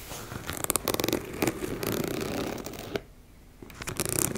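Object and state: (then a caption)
Fabric cosmetic pouch. Long nails scratch across a teal embossed-fabric makeup bag, including along its zipper edge, making dry, bright rasping bursts. The rapid scratches come in quick runs with a short quiet pause before the scratching picks up again.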